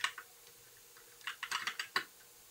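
Fingertips of both hands type on a compact white mechanical keyboard with backlit plastic keycaps, producing eight short, bright plastic clicks. Two keystrokes come early, then a pause, then a quicker cluster of six near the end. Each click dies away almost at once, with almost no low end beneath a faint steady hum.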